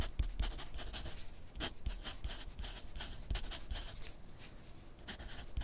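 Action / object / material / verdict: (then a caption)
scrape / graphite pencil on paper sheet on a clipboard / paper / none. A wooden graphite pencil is drawn across a thin sheet of grid paper clipped to a flat clipboard on a desk while writing. Its tip makes a quiet, steady run of short, dry scratching strokes with a bright, papery hiss, and each stroke lands with a soft low thump from the board.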